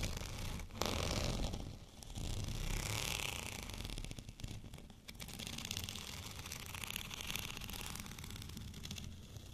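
Fingernails of both hands scratch over a white, bumpy textured plastic rolling pin. A dense, continuous rasping scratch with a bright, hissy edge and a low rumble underneath rises and dips in loudness without clear separate strokes.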